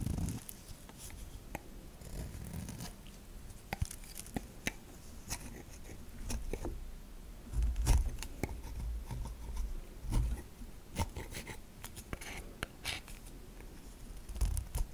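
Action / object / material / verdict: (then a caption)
scrape / bar of soap scraped with a metal knife / soap / none. A metal knife cuts and scrapes thin slices off the top of a solid white bar of soap held in the hand. Crisp, dry scraping and crunching strokes repeat steadily, with bright shaving edges over a low, muffled rumble and a few louder bursts.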